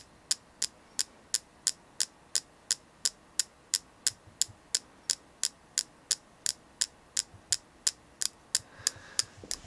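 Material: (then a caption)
Selenite. Steady tapping on a selenite crystal gives 28 short, bright clicks at an even pace, each stopping almost instantly with no ring. A faint soft rustle sits between the taps near the end.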